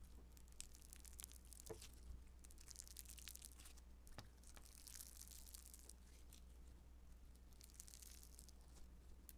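A handful-sized, soft, solid blue lump of beaded foam modeling dough (Play-Doh Foam) is squeezed, stretched and kneaded with fingertips and long nails. It gives quiet, dense, bright crackling and crinkly popping ticks, like fine crunching and tearing, over a steady low hum.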